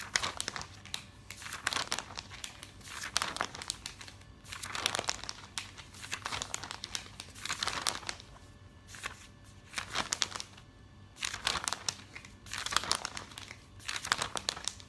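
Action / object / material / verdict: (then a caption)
scrape / glossy paper catalog pages / coated paper / none. Hands rapidly flip the pages of a glossy paper catalog and flatten them with their fingertips. Bright, papery crinkling comes in repeated bursts, with brief quieter pauses between them.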